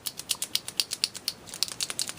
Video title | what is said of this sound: Review of Funcils Double Sided Chalkboard & Chalk Markers Set | shake it shake it and you hear the insides going